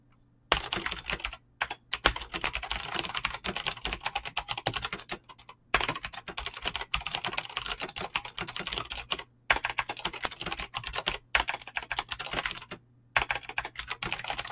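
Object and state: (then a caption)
Mechanical keyboard with PBT plastic keycaps. Fingertips type fast on a Razer BlackWidow mechanical keyboard with clicky green switches and pink-blue dyed PBT plastic keycaps. Rapid, bright, sharp clicks come in dense bursts, broken by a few short pauses. Each keystroke dies away almost instantly.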